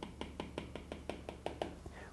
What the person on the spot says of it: when you tap on the display, the sound is dampened slightly because of the laminated display. So, the sound is not as sharp